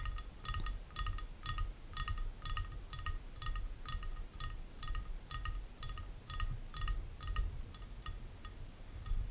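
Long nails tap and click on the rim and sides of a medium rectangular clear glass food container holding water, resting on a pink towel. A fast, uneven run of short, bright glassy clicks with brief ringing tones sits over a low, steady rumble.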